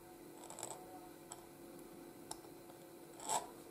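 A pointed steel nib in a wooden oblique holder scratches across a flat white gridded paper sheet while writing letters; an ink jar sits nearby untouched. Five short, bright, papery scratches stand out over a quiet, steady hiss, the last one longer and louder. Each stroke fades quickly.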